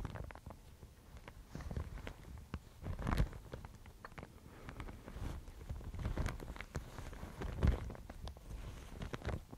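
A thin, fibrous Thai mulberry paper sheet is held in both hands, crinkled and scratched with long nails. Quiet, irregular crackles and scratchy bursts come and go, with a few louder crinkles standing out.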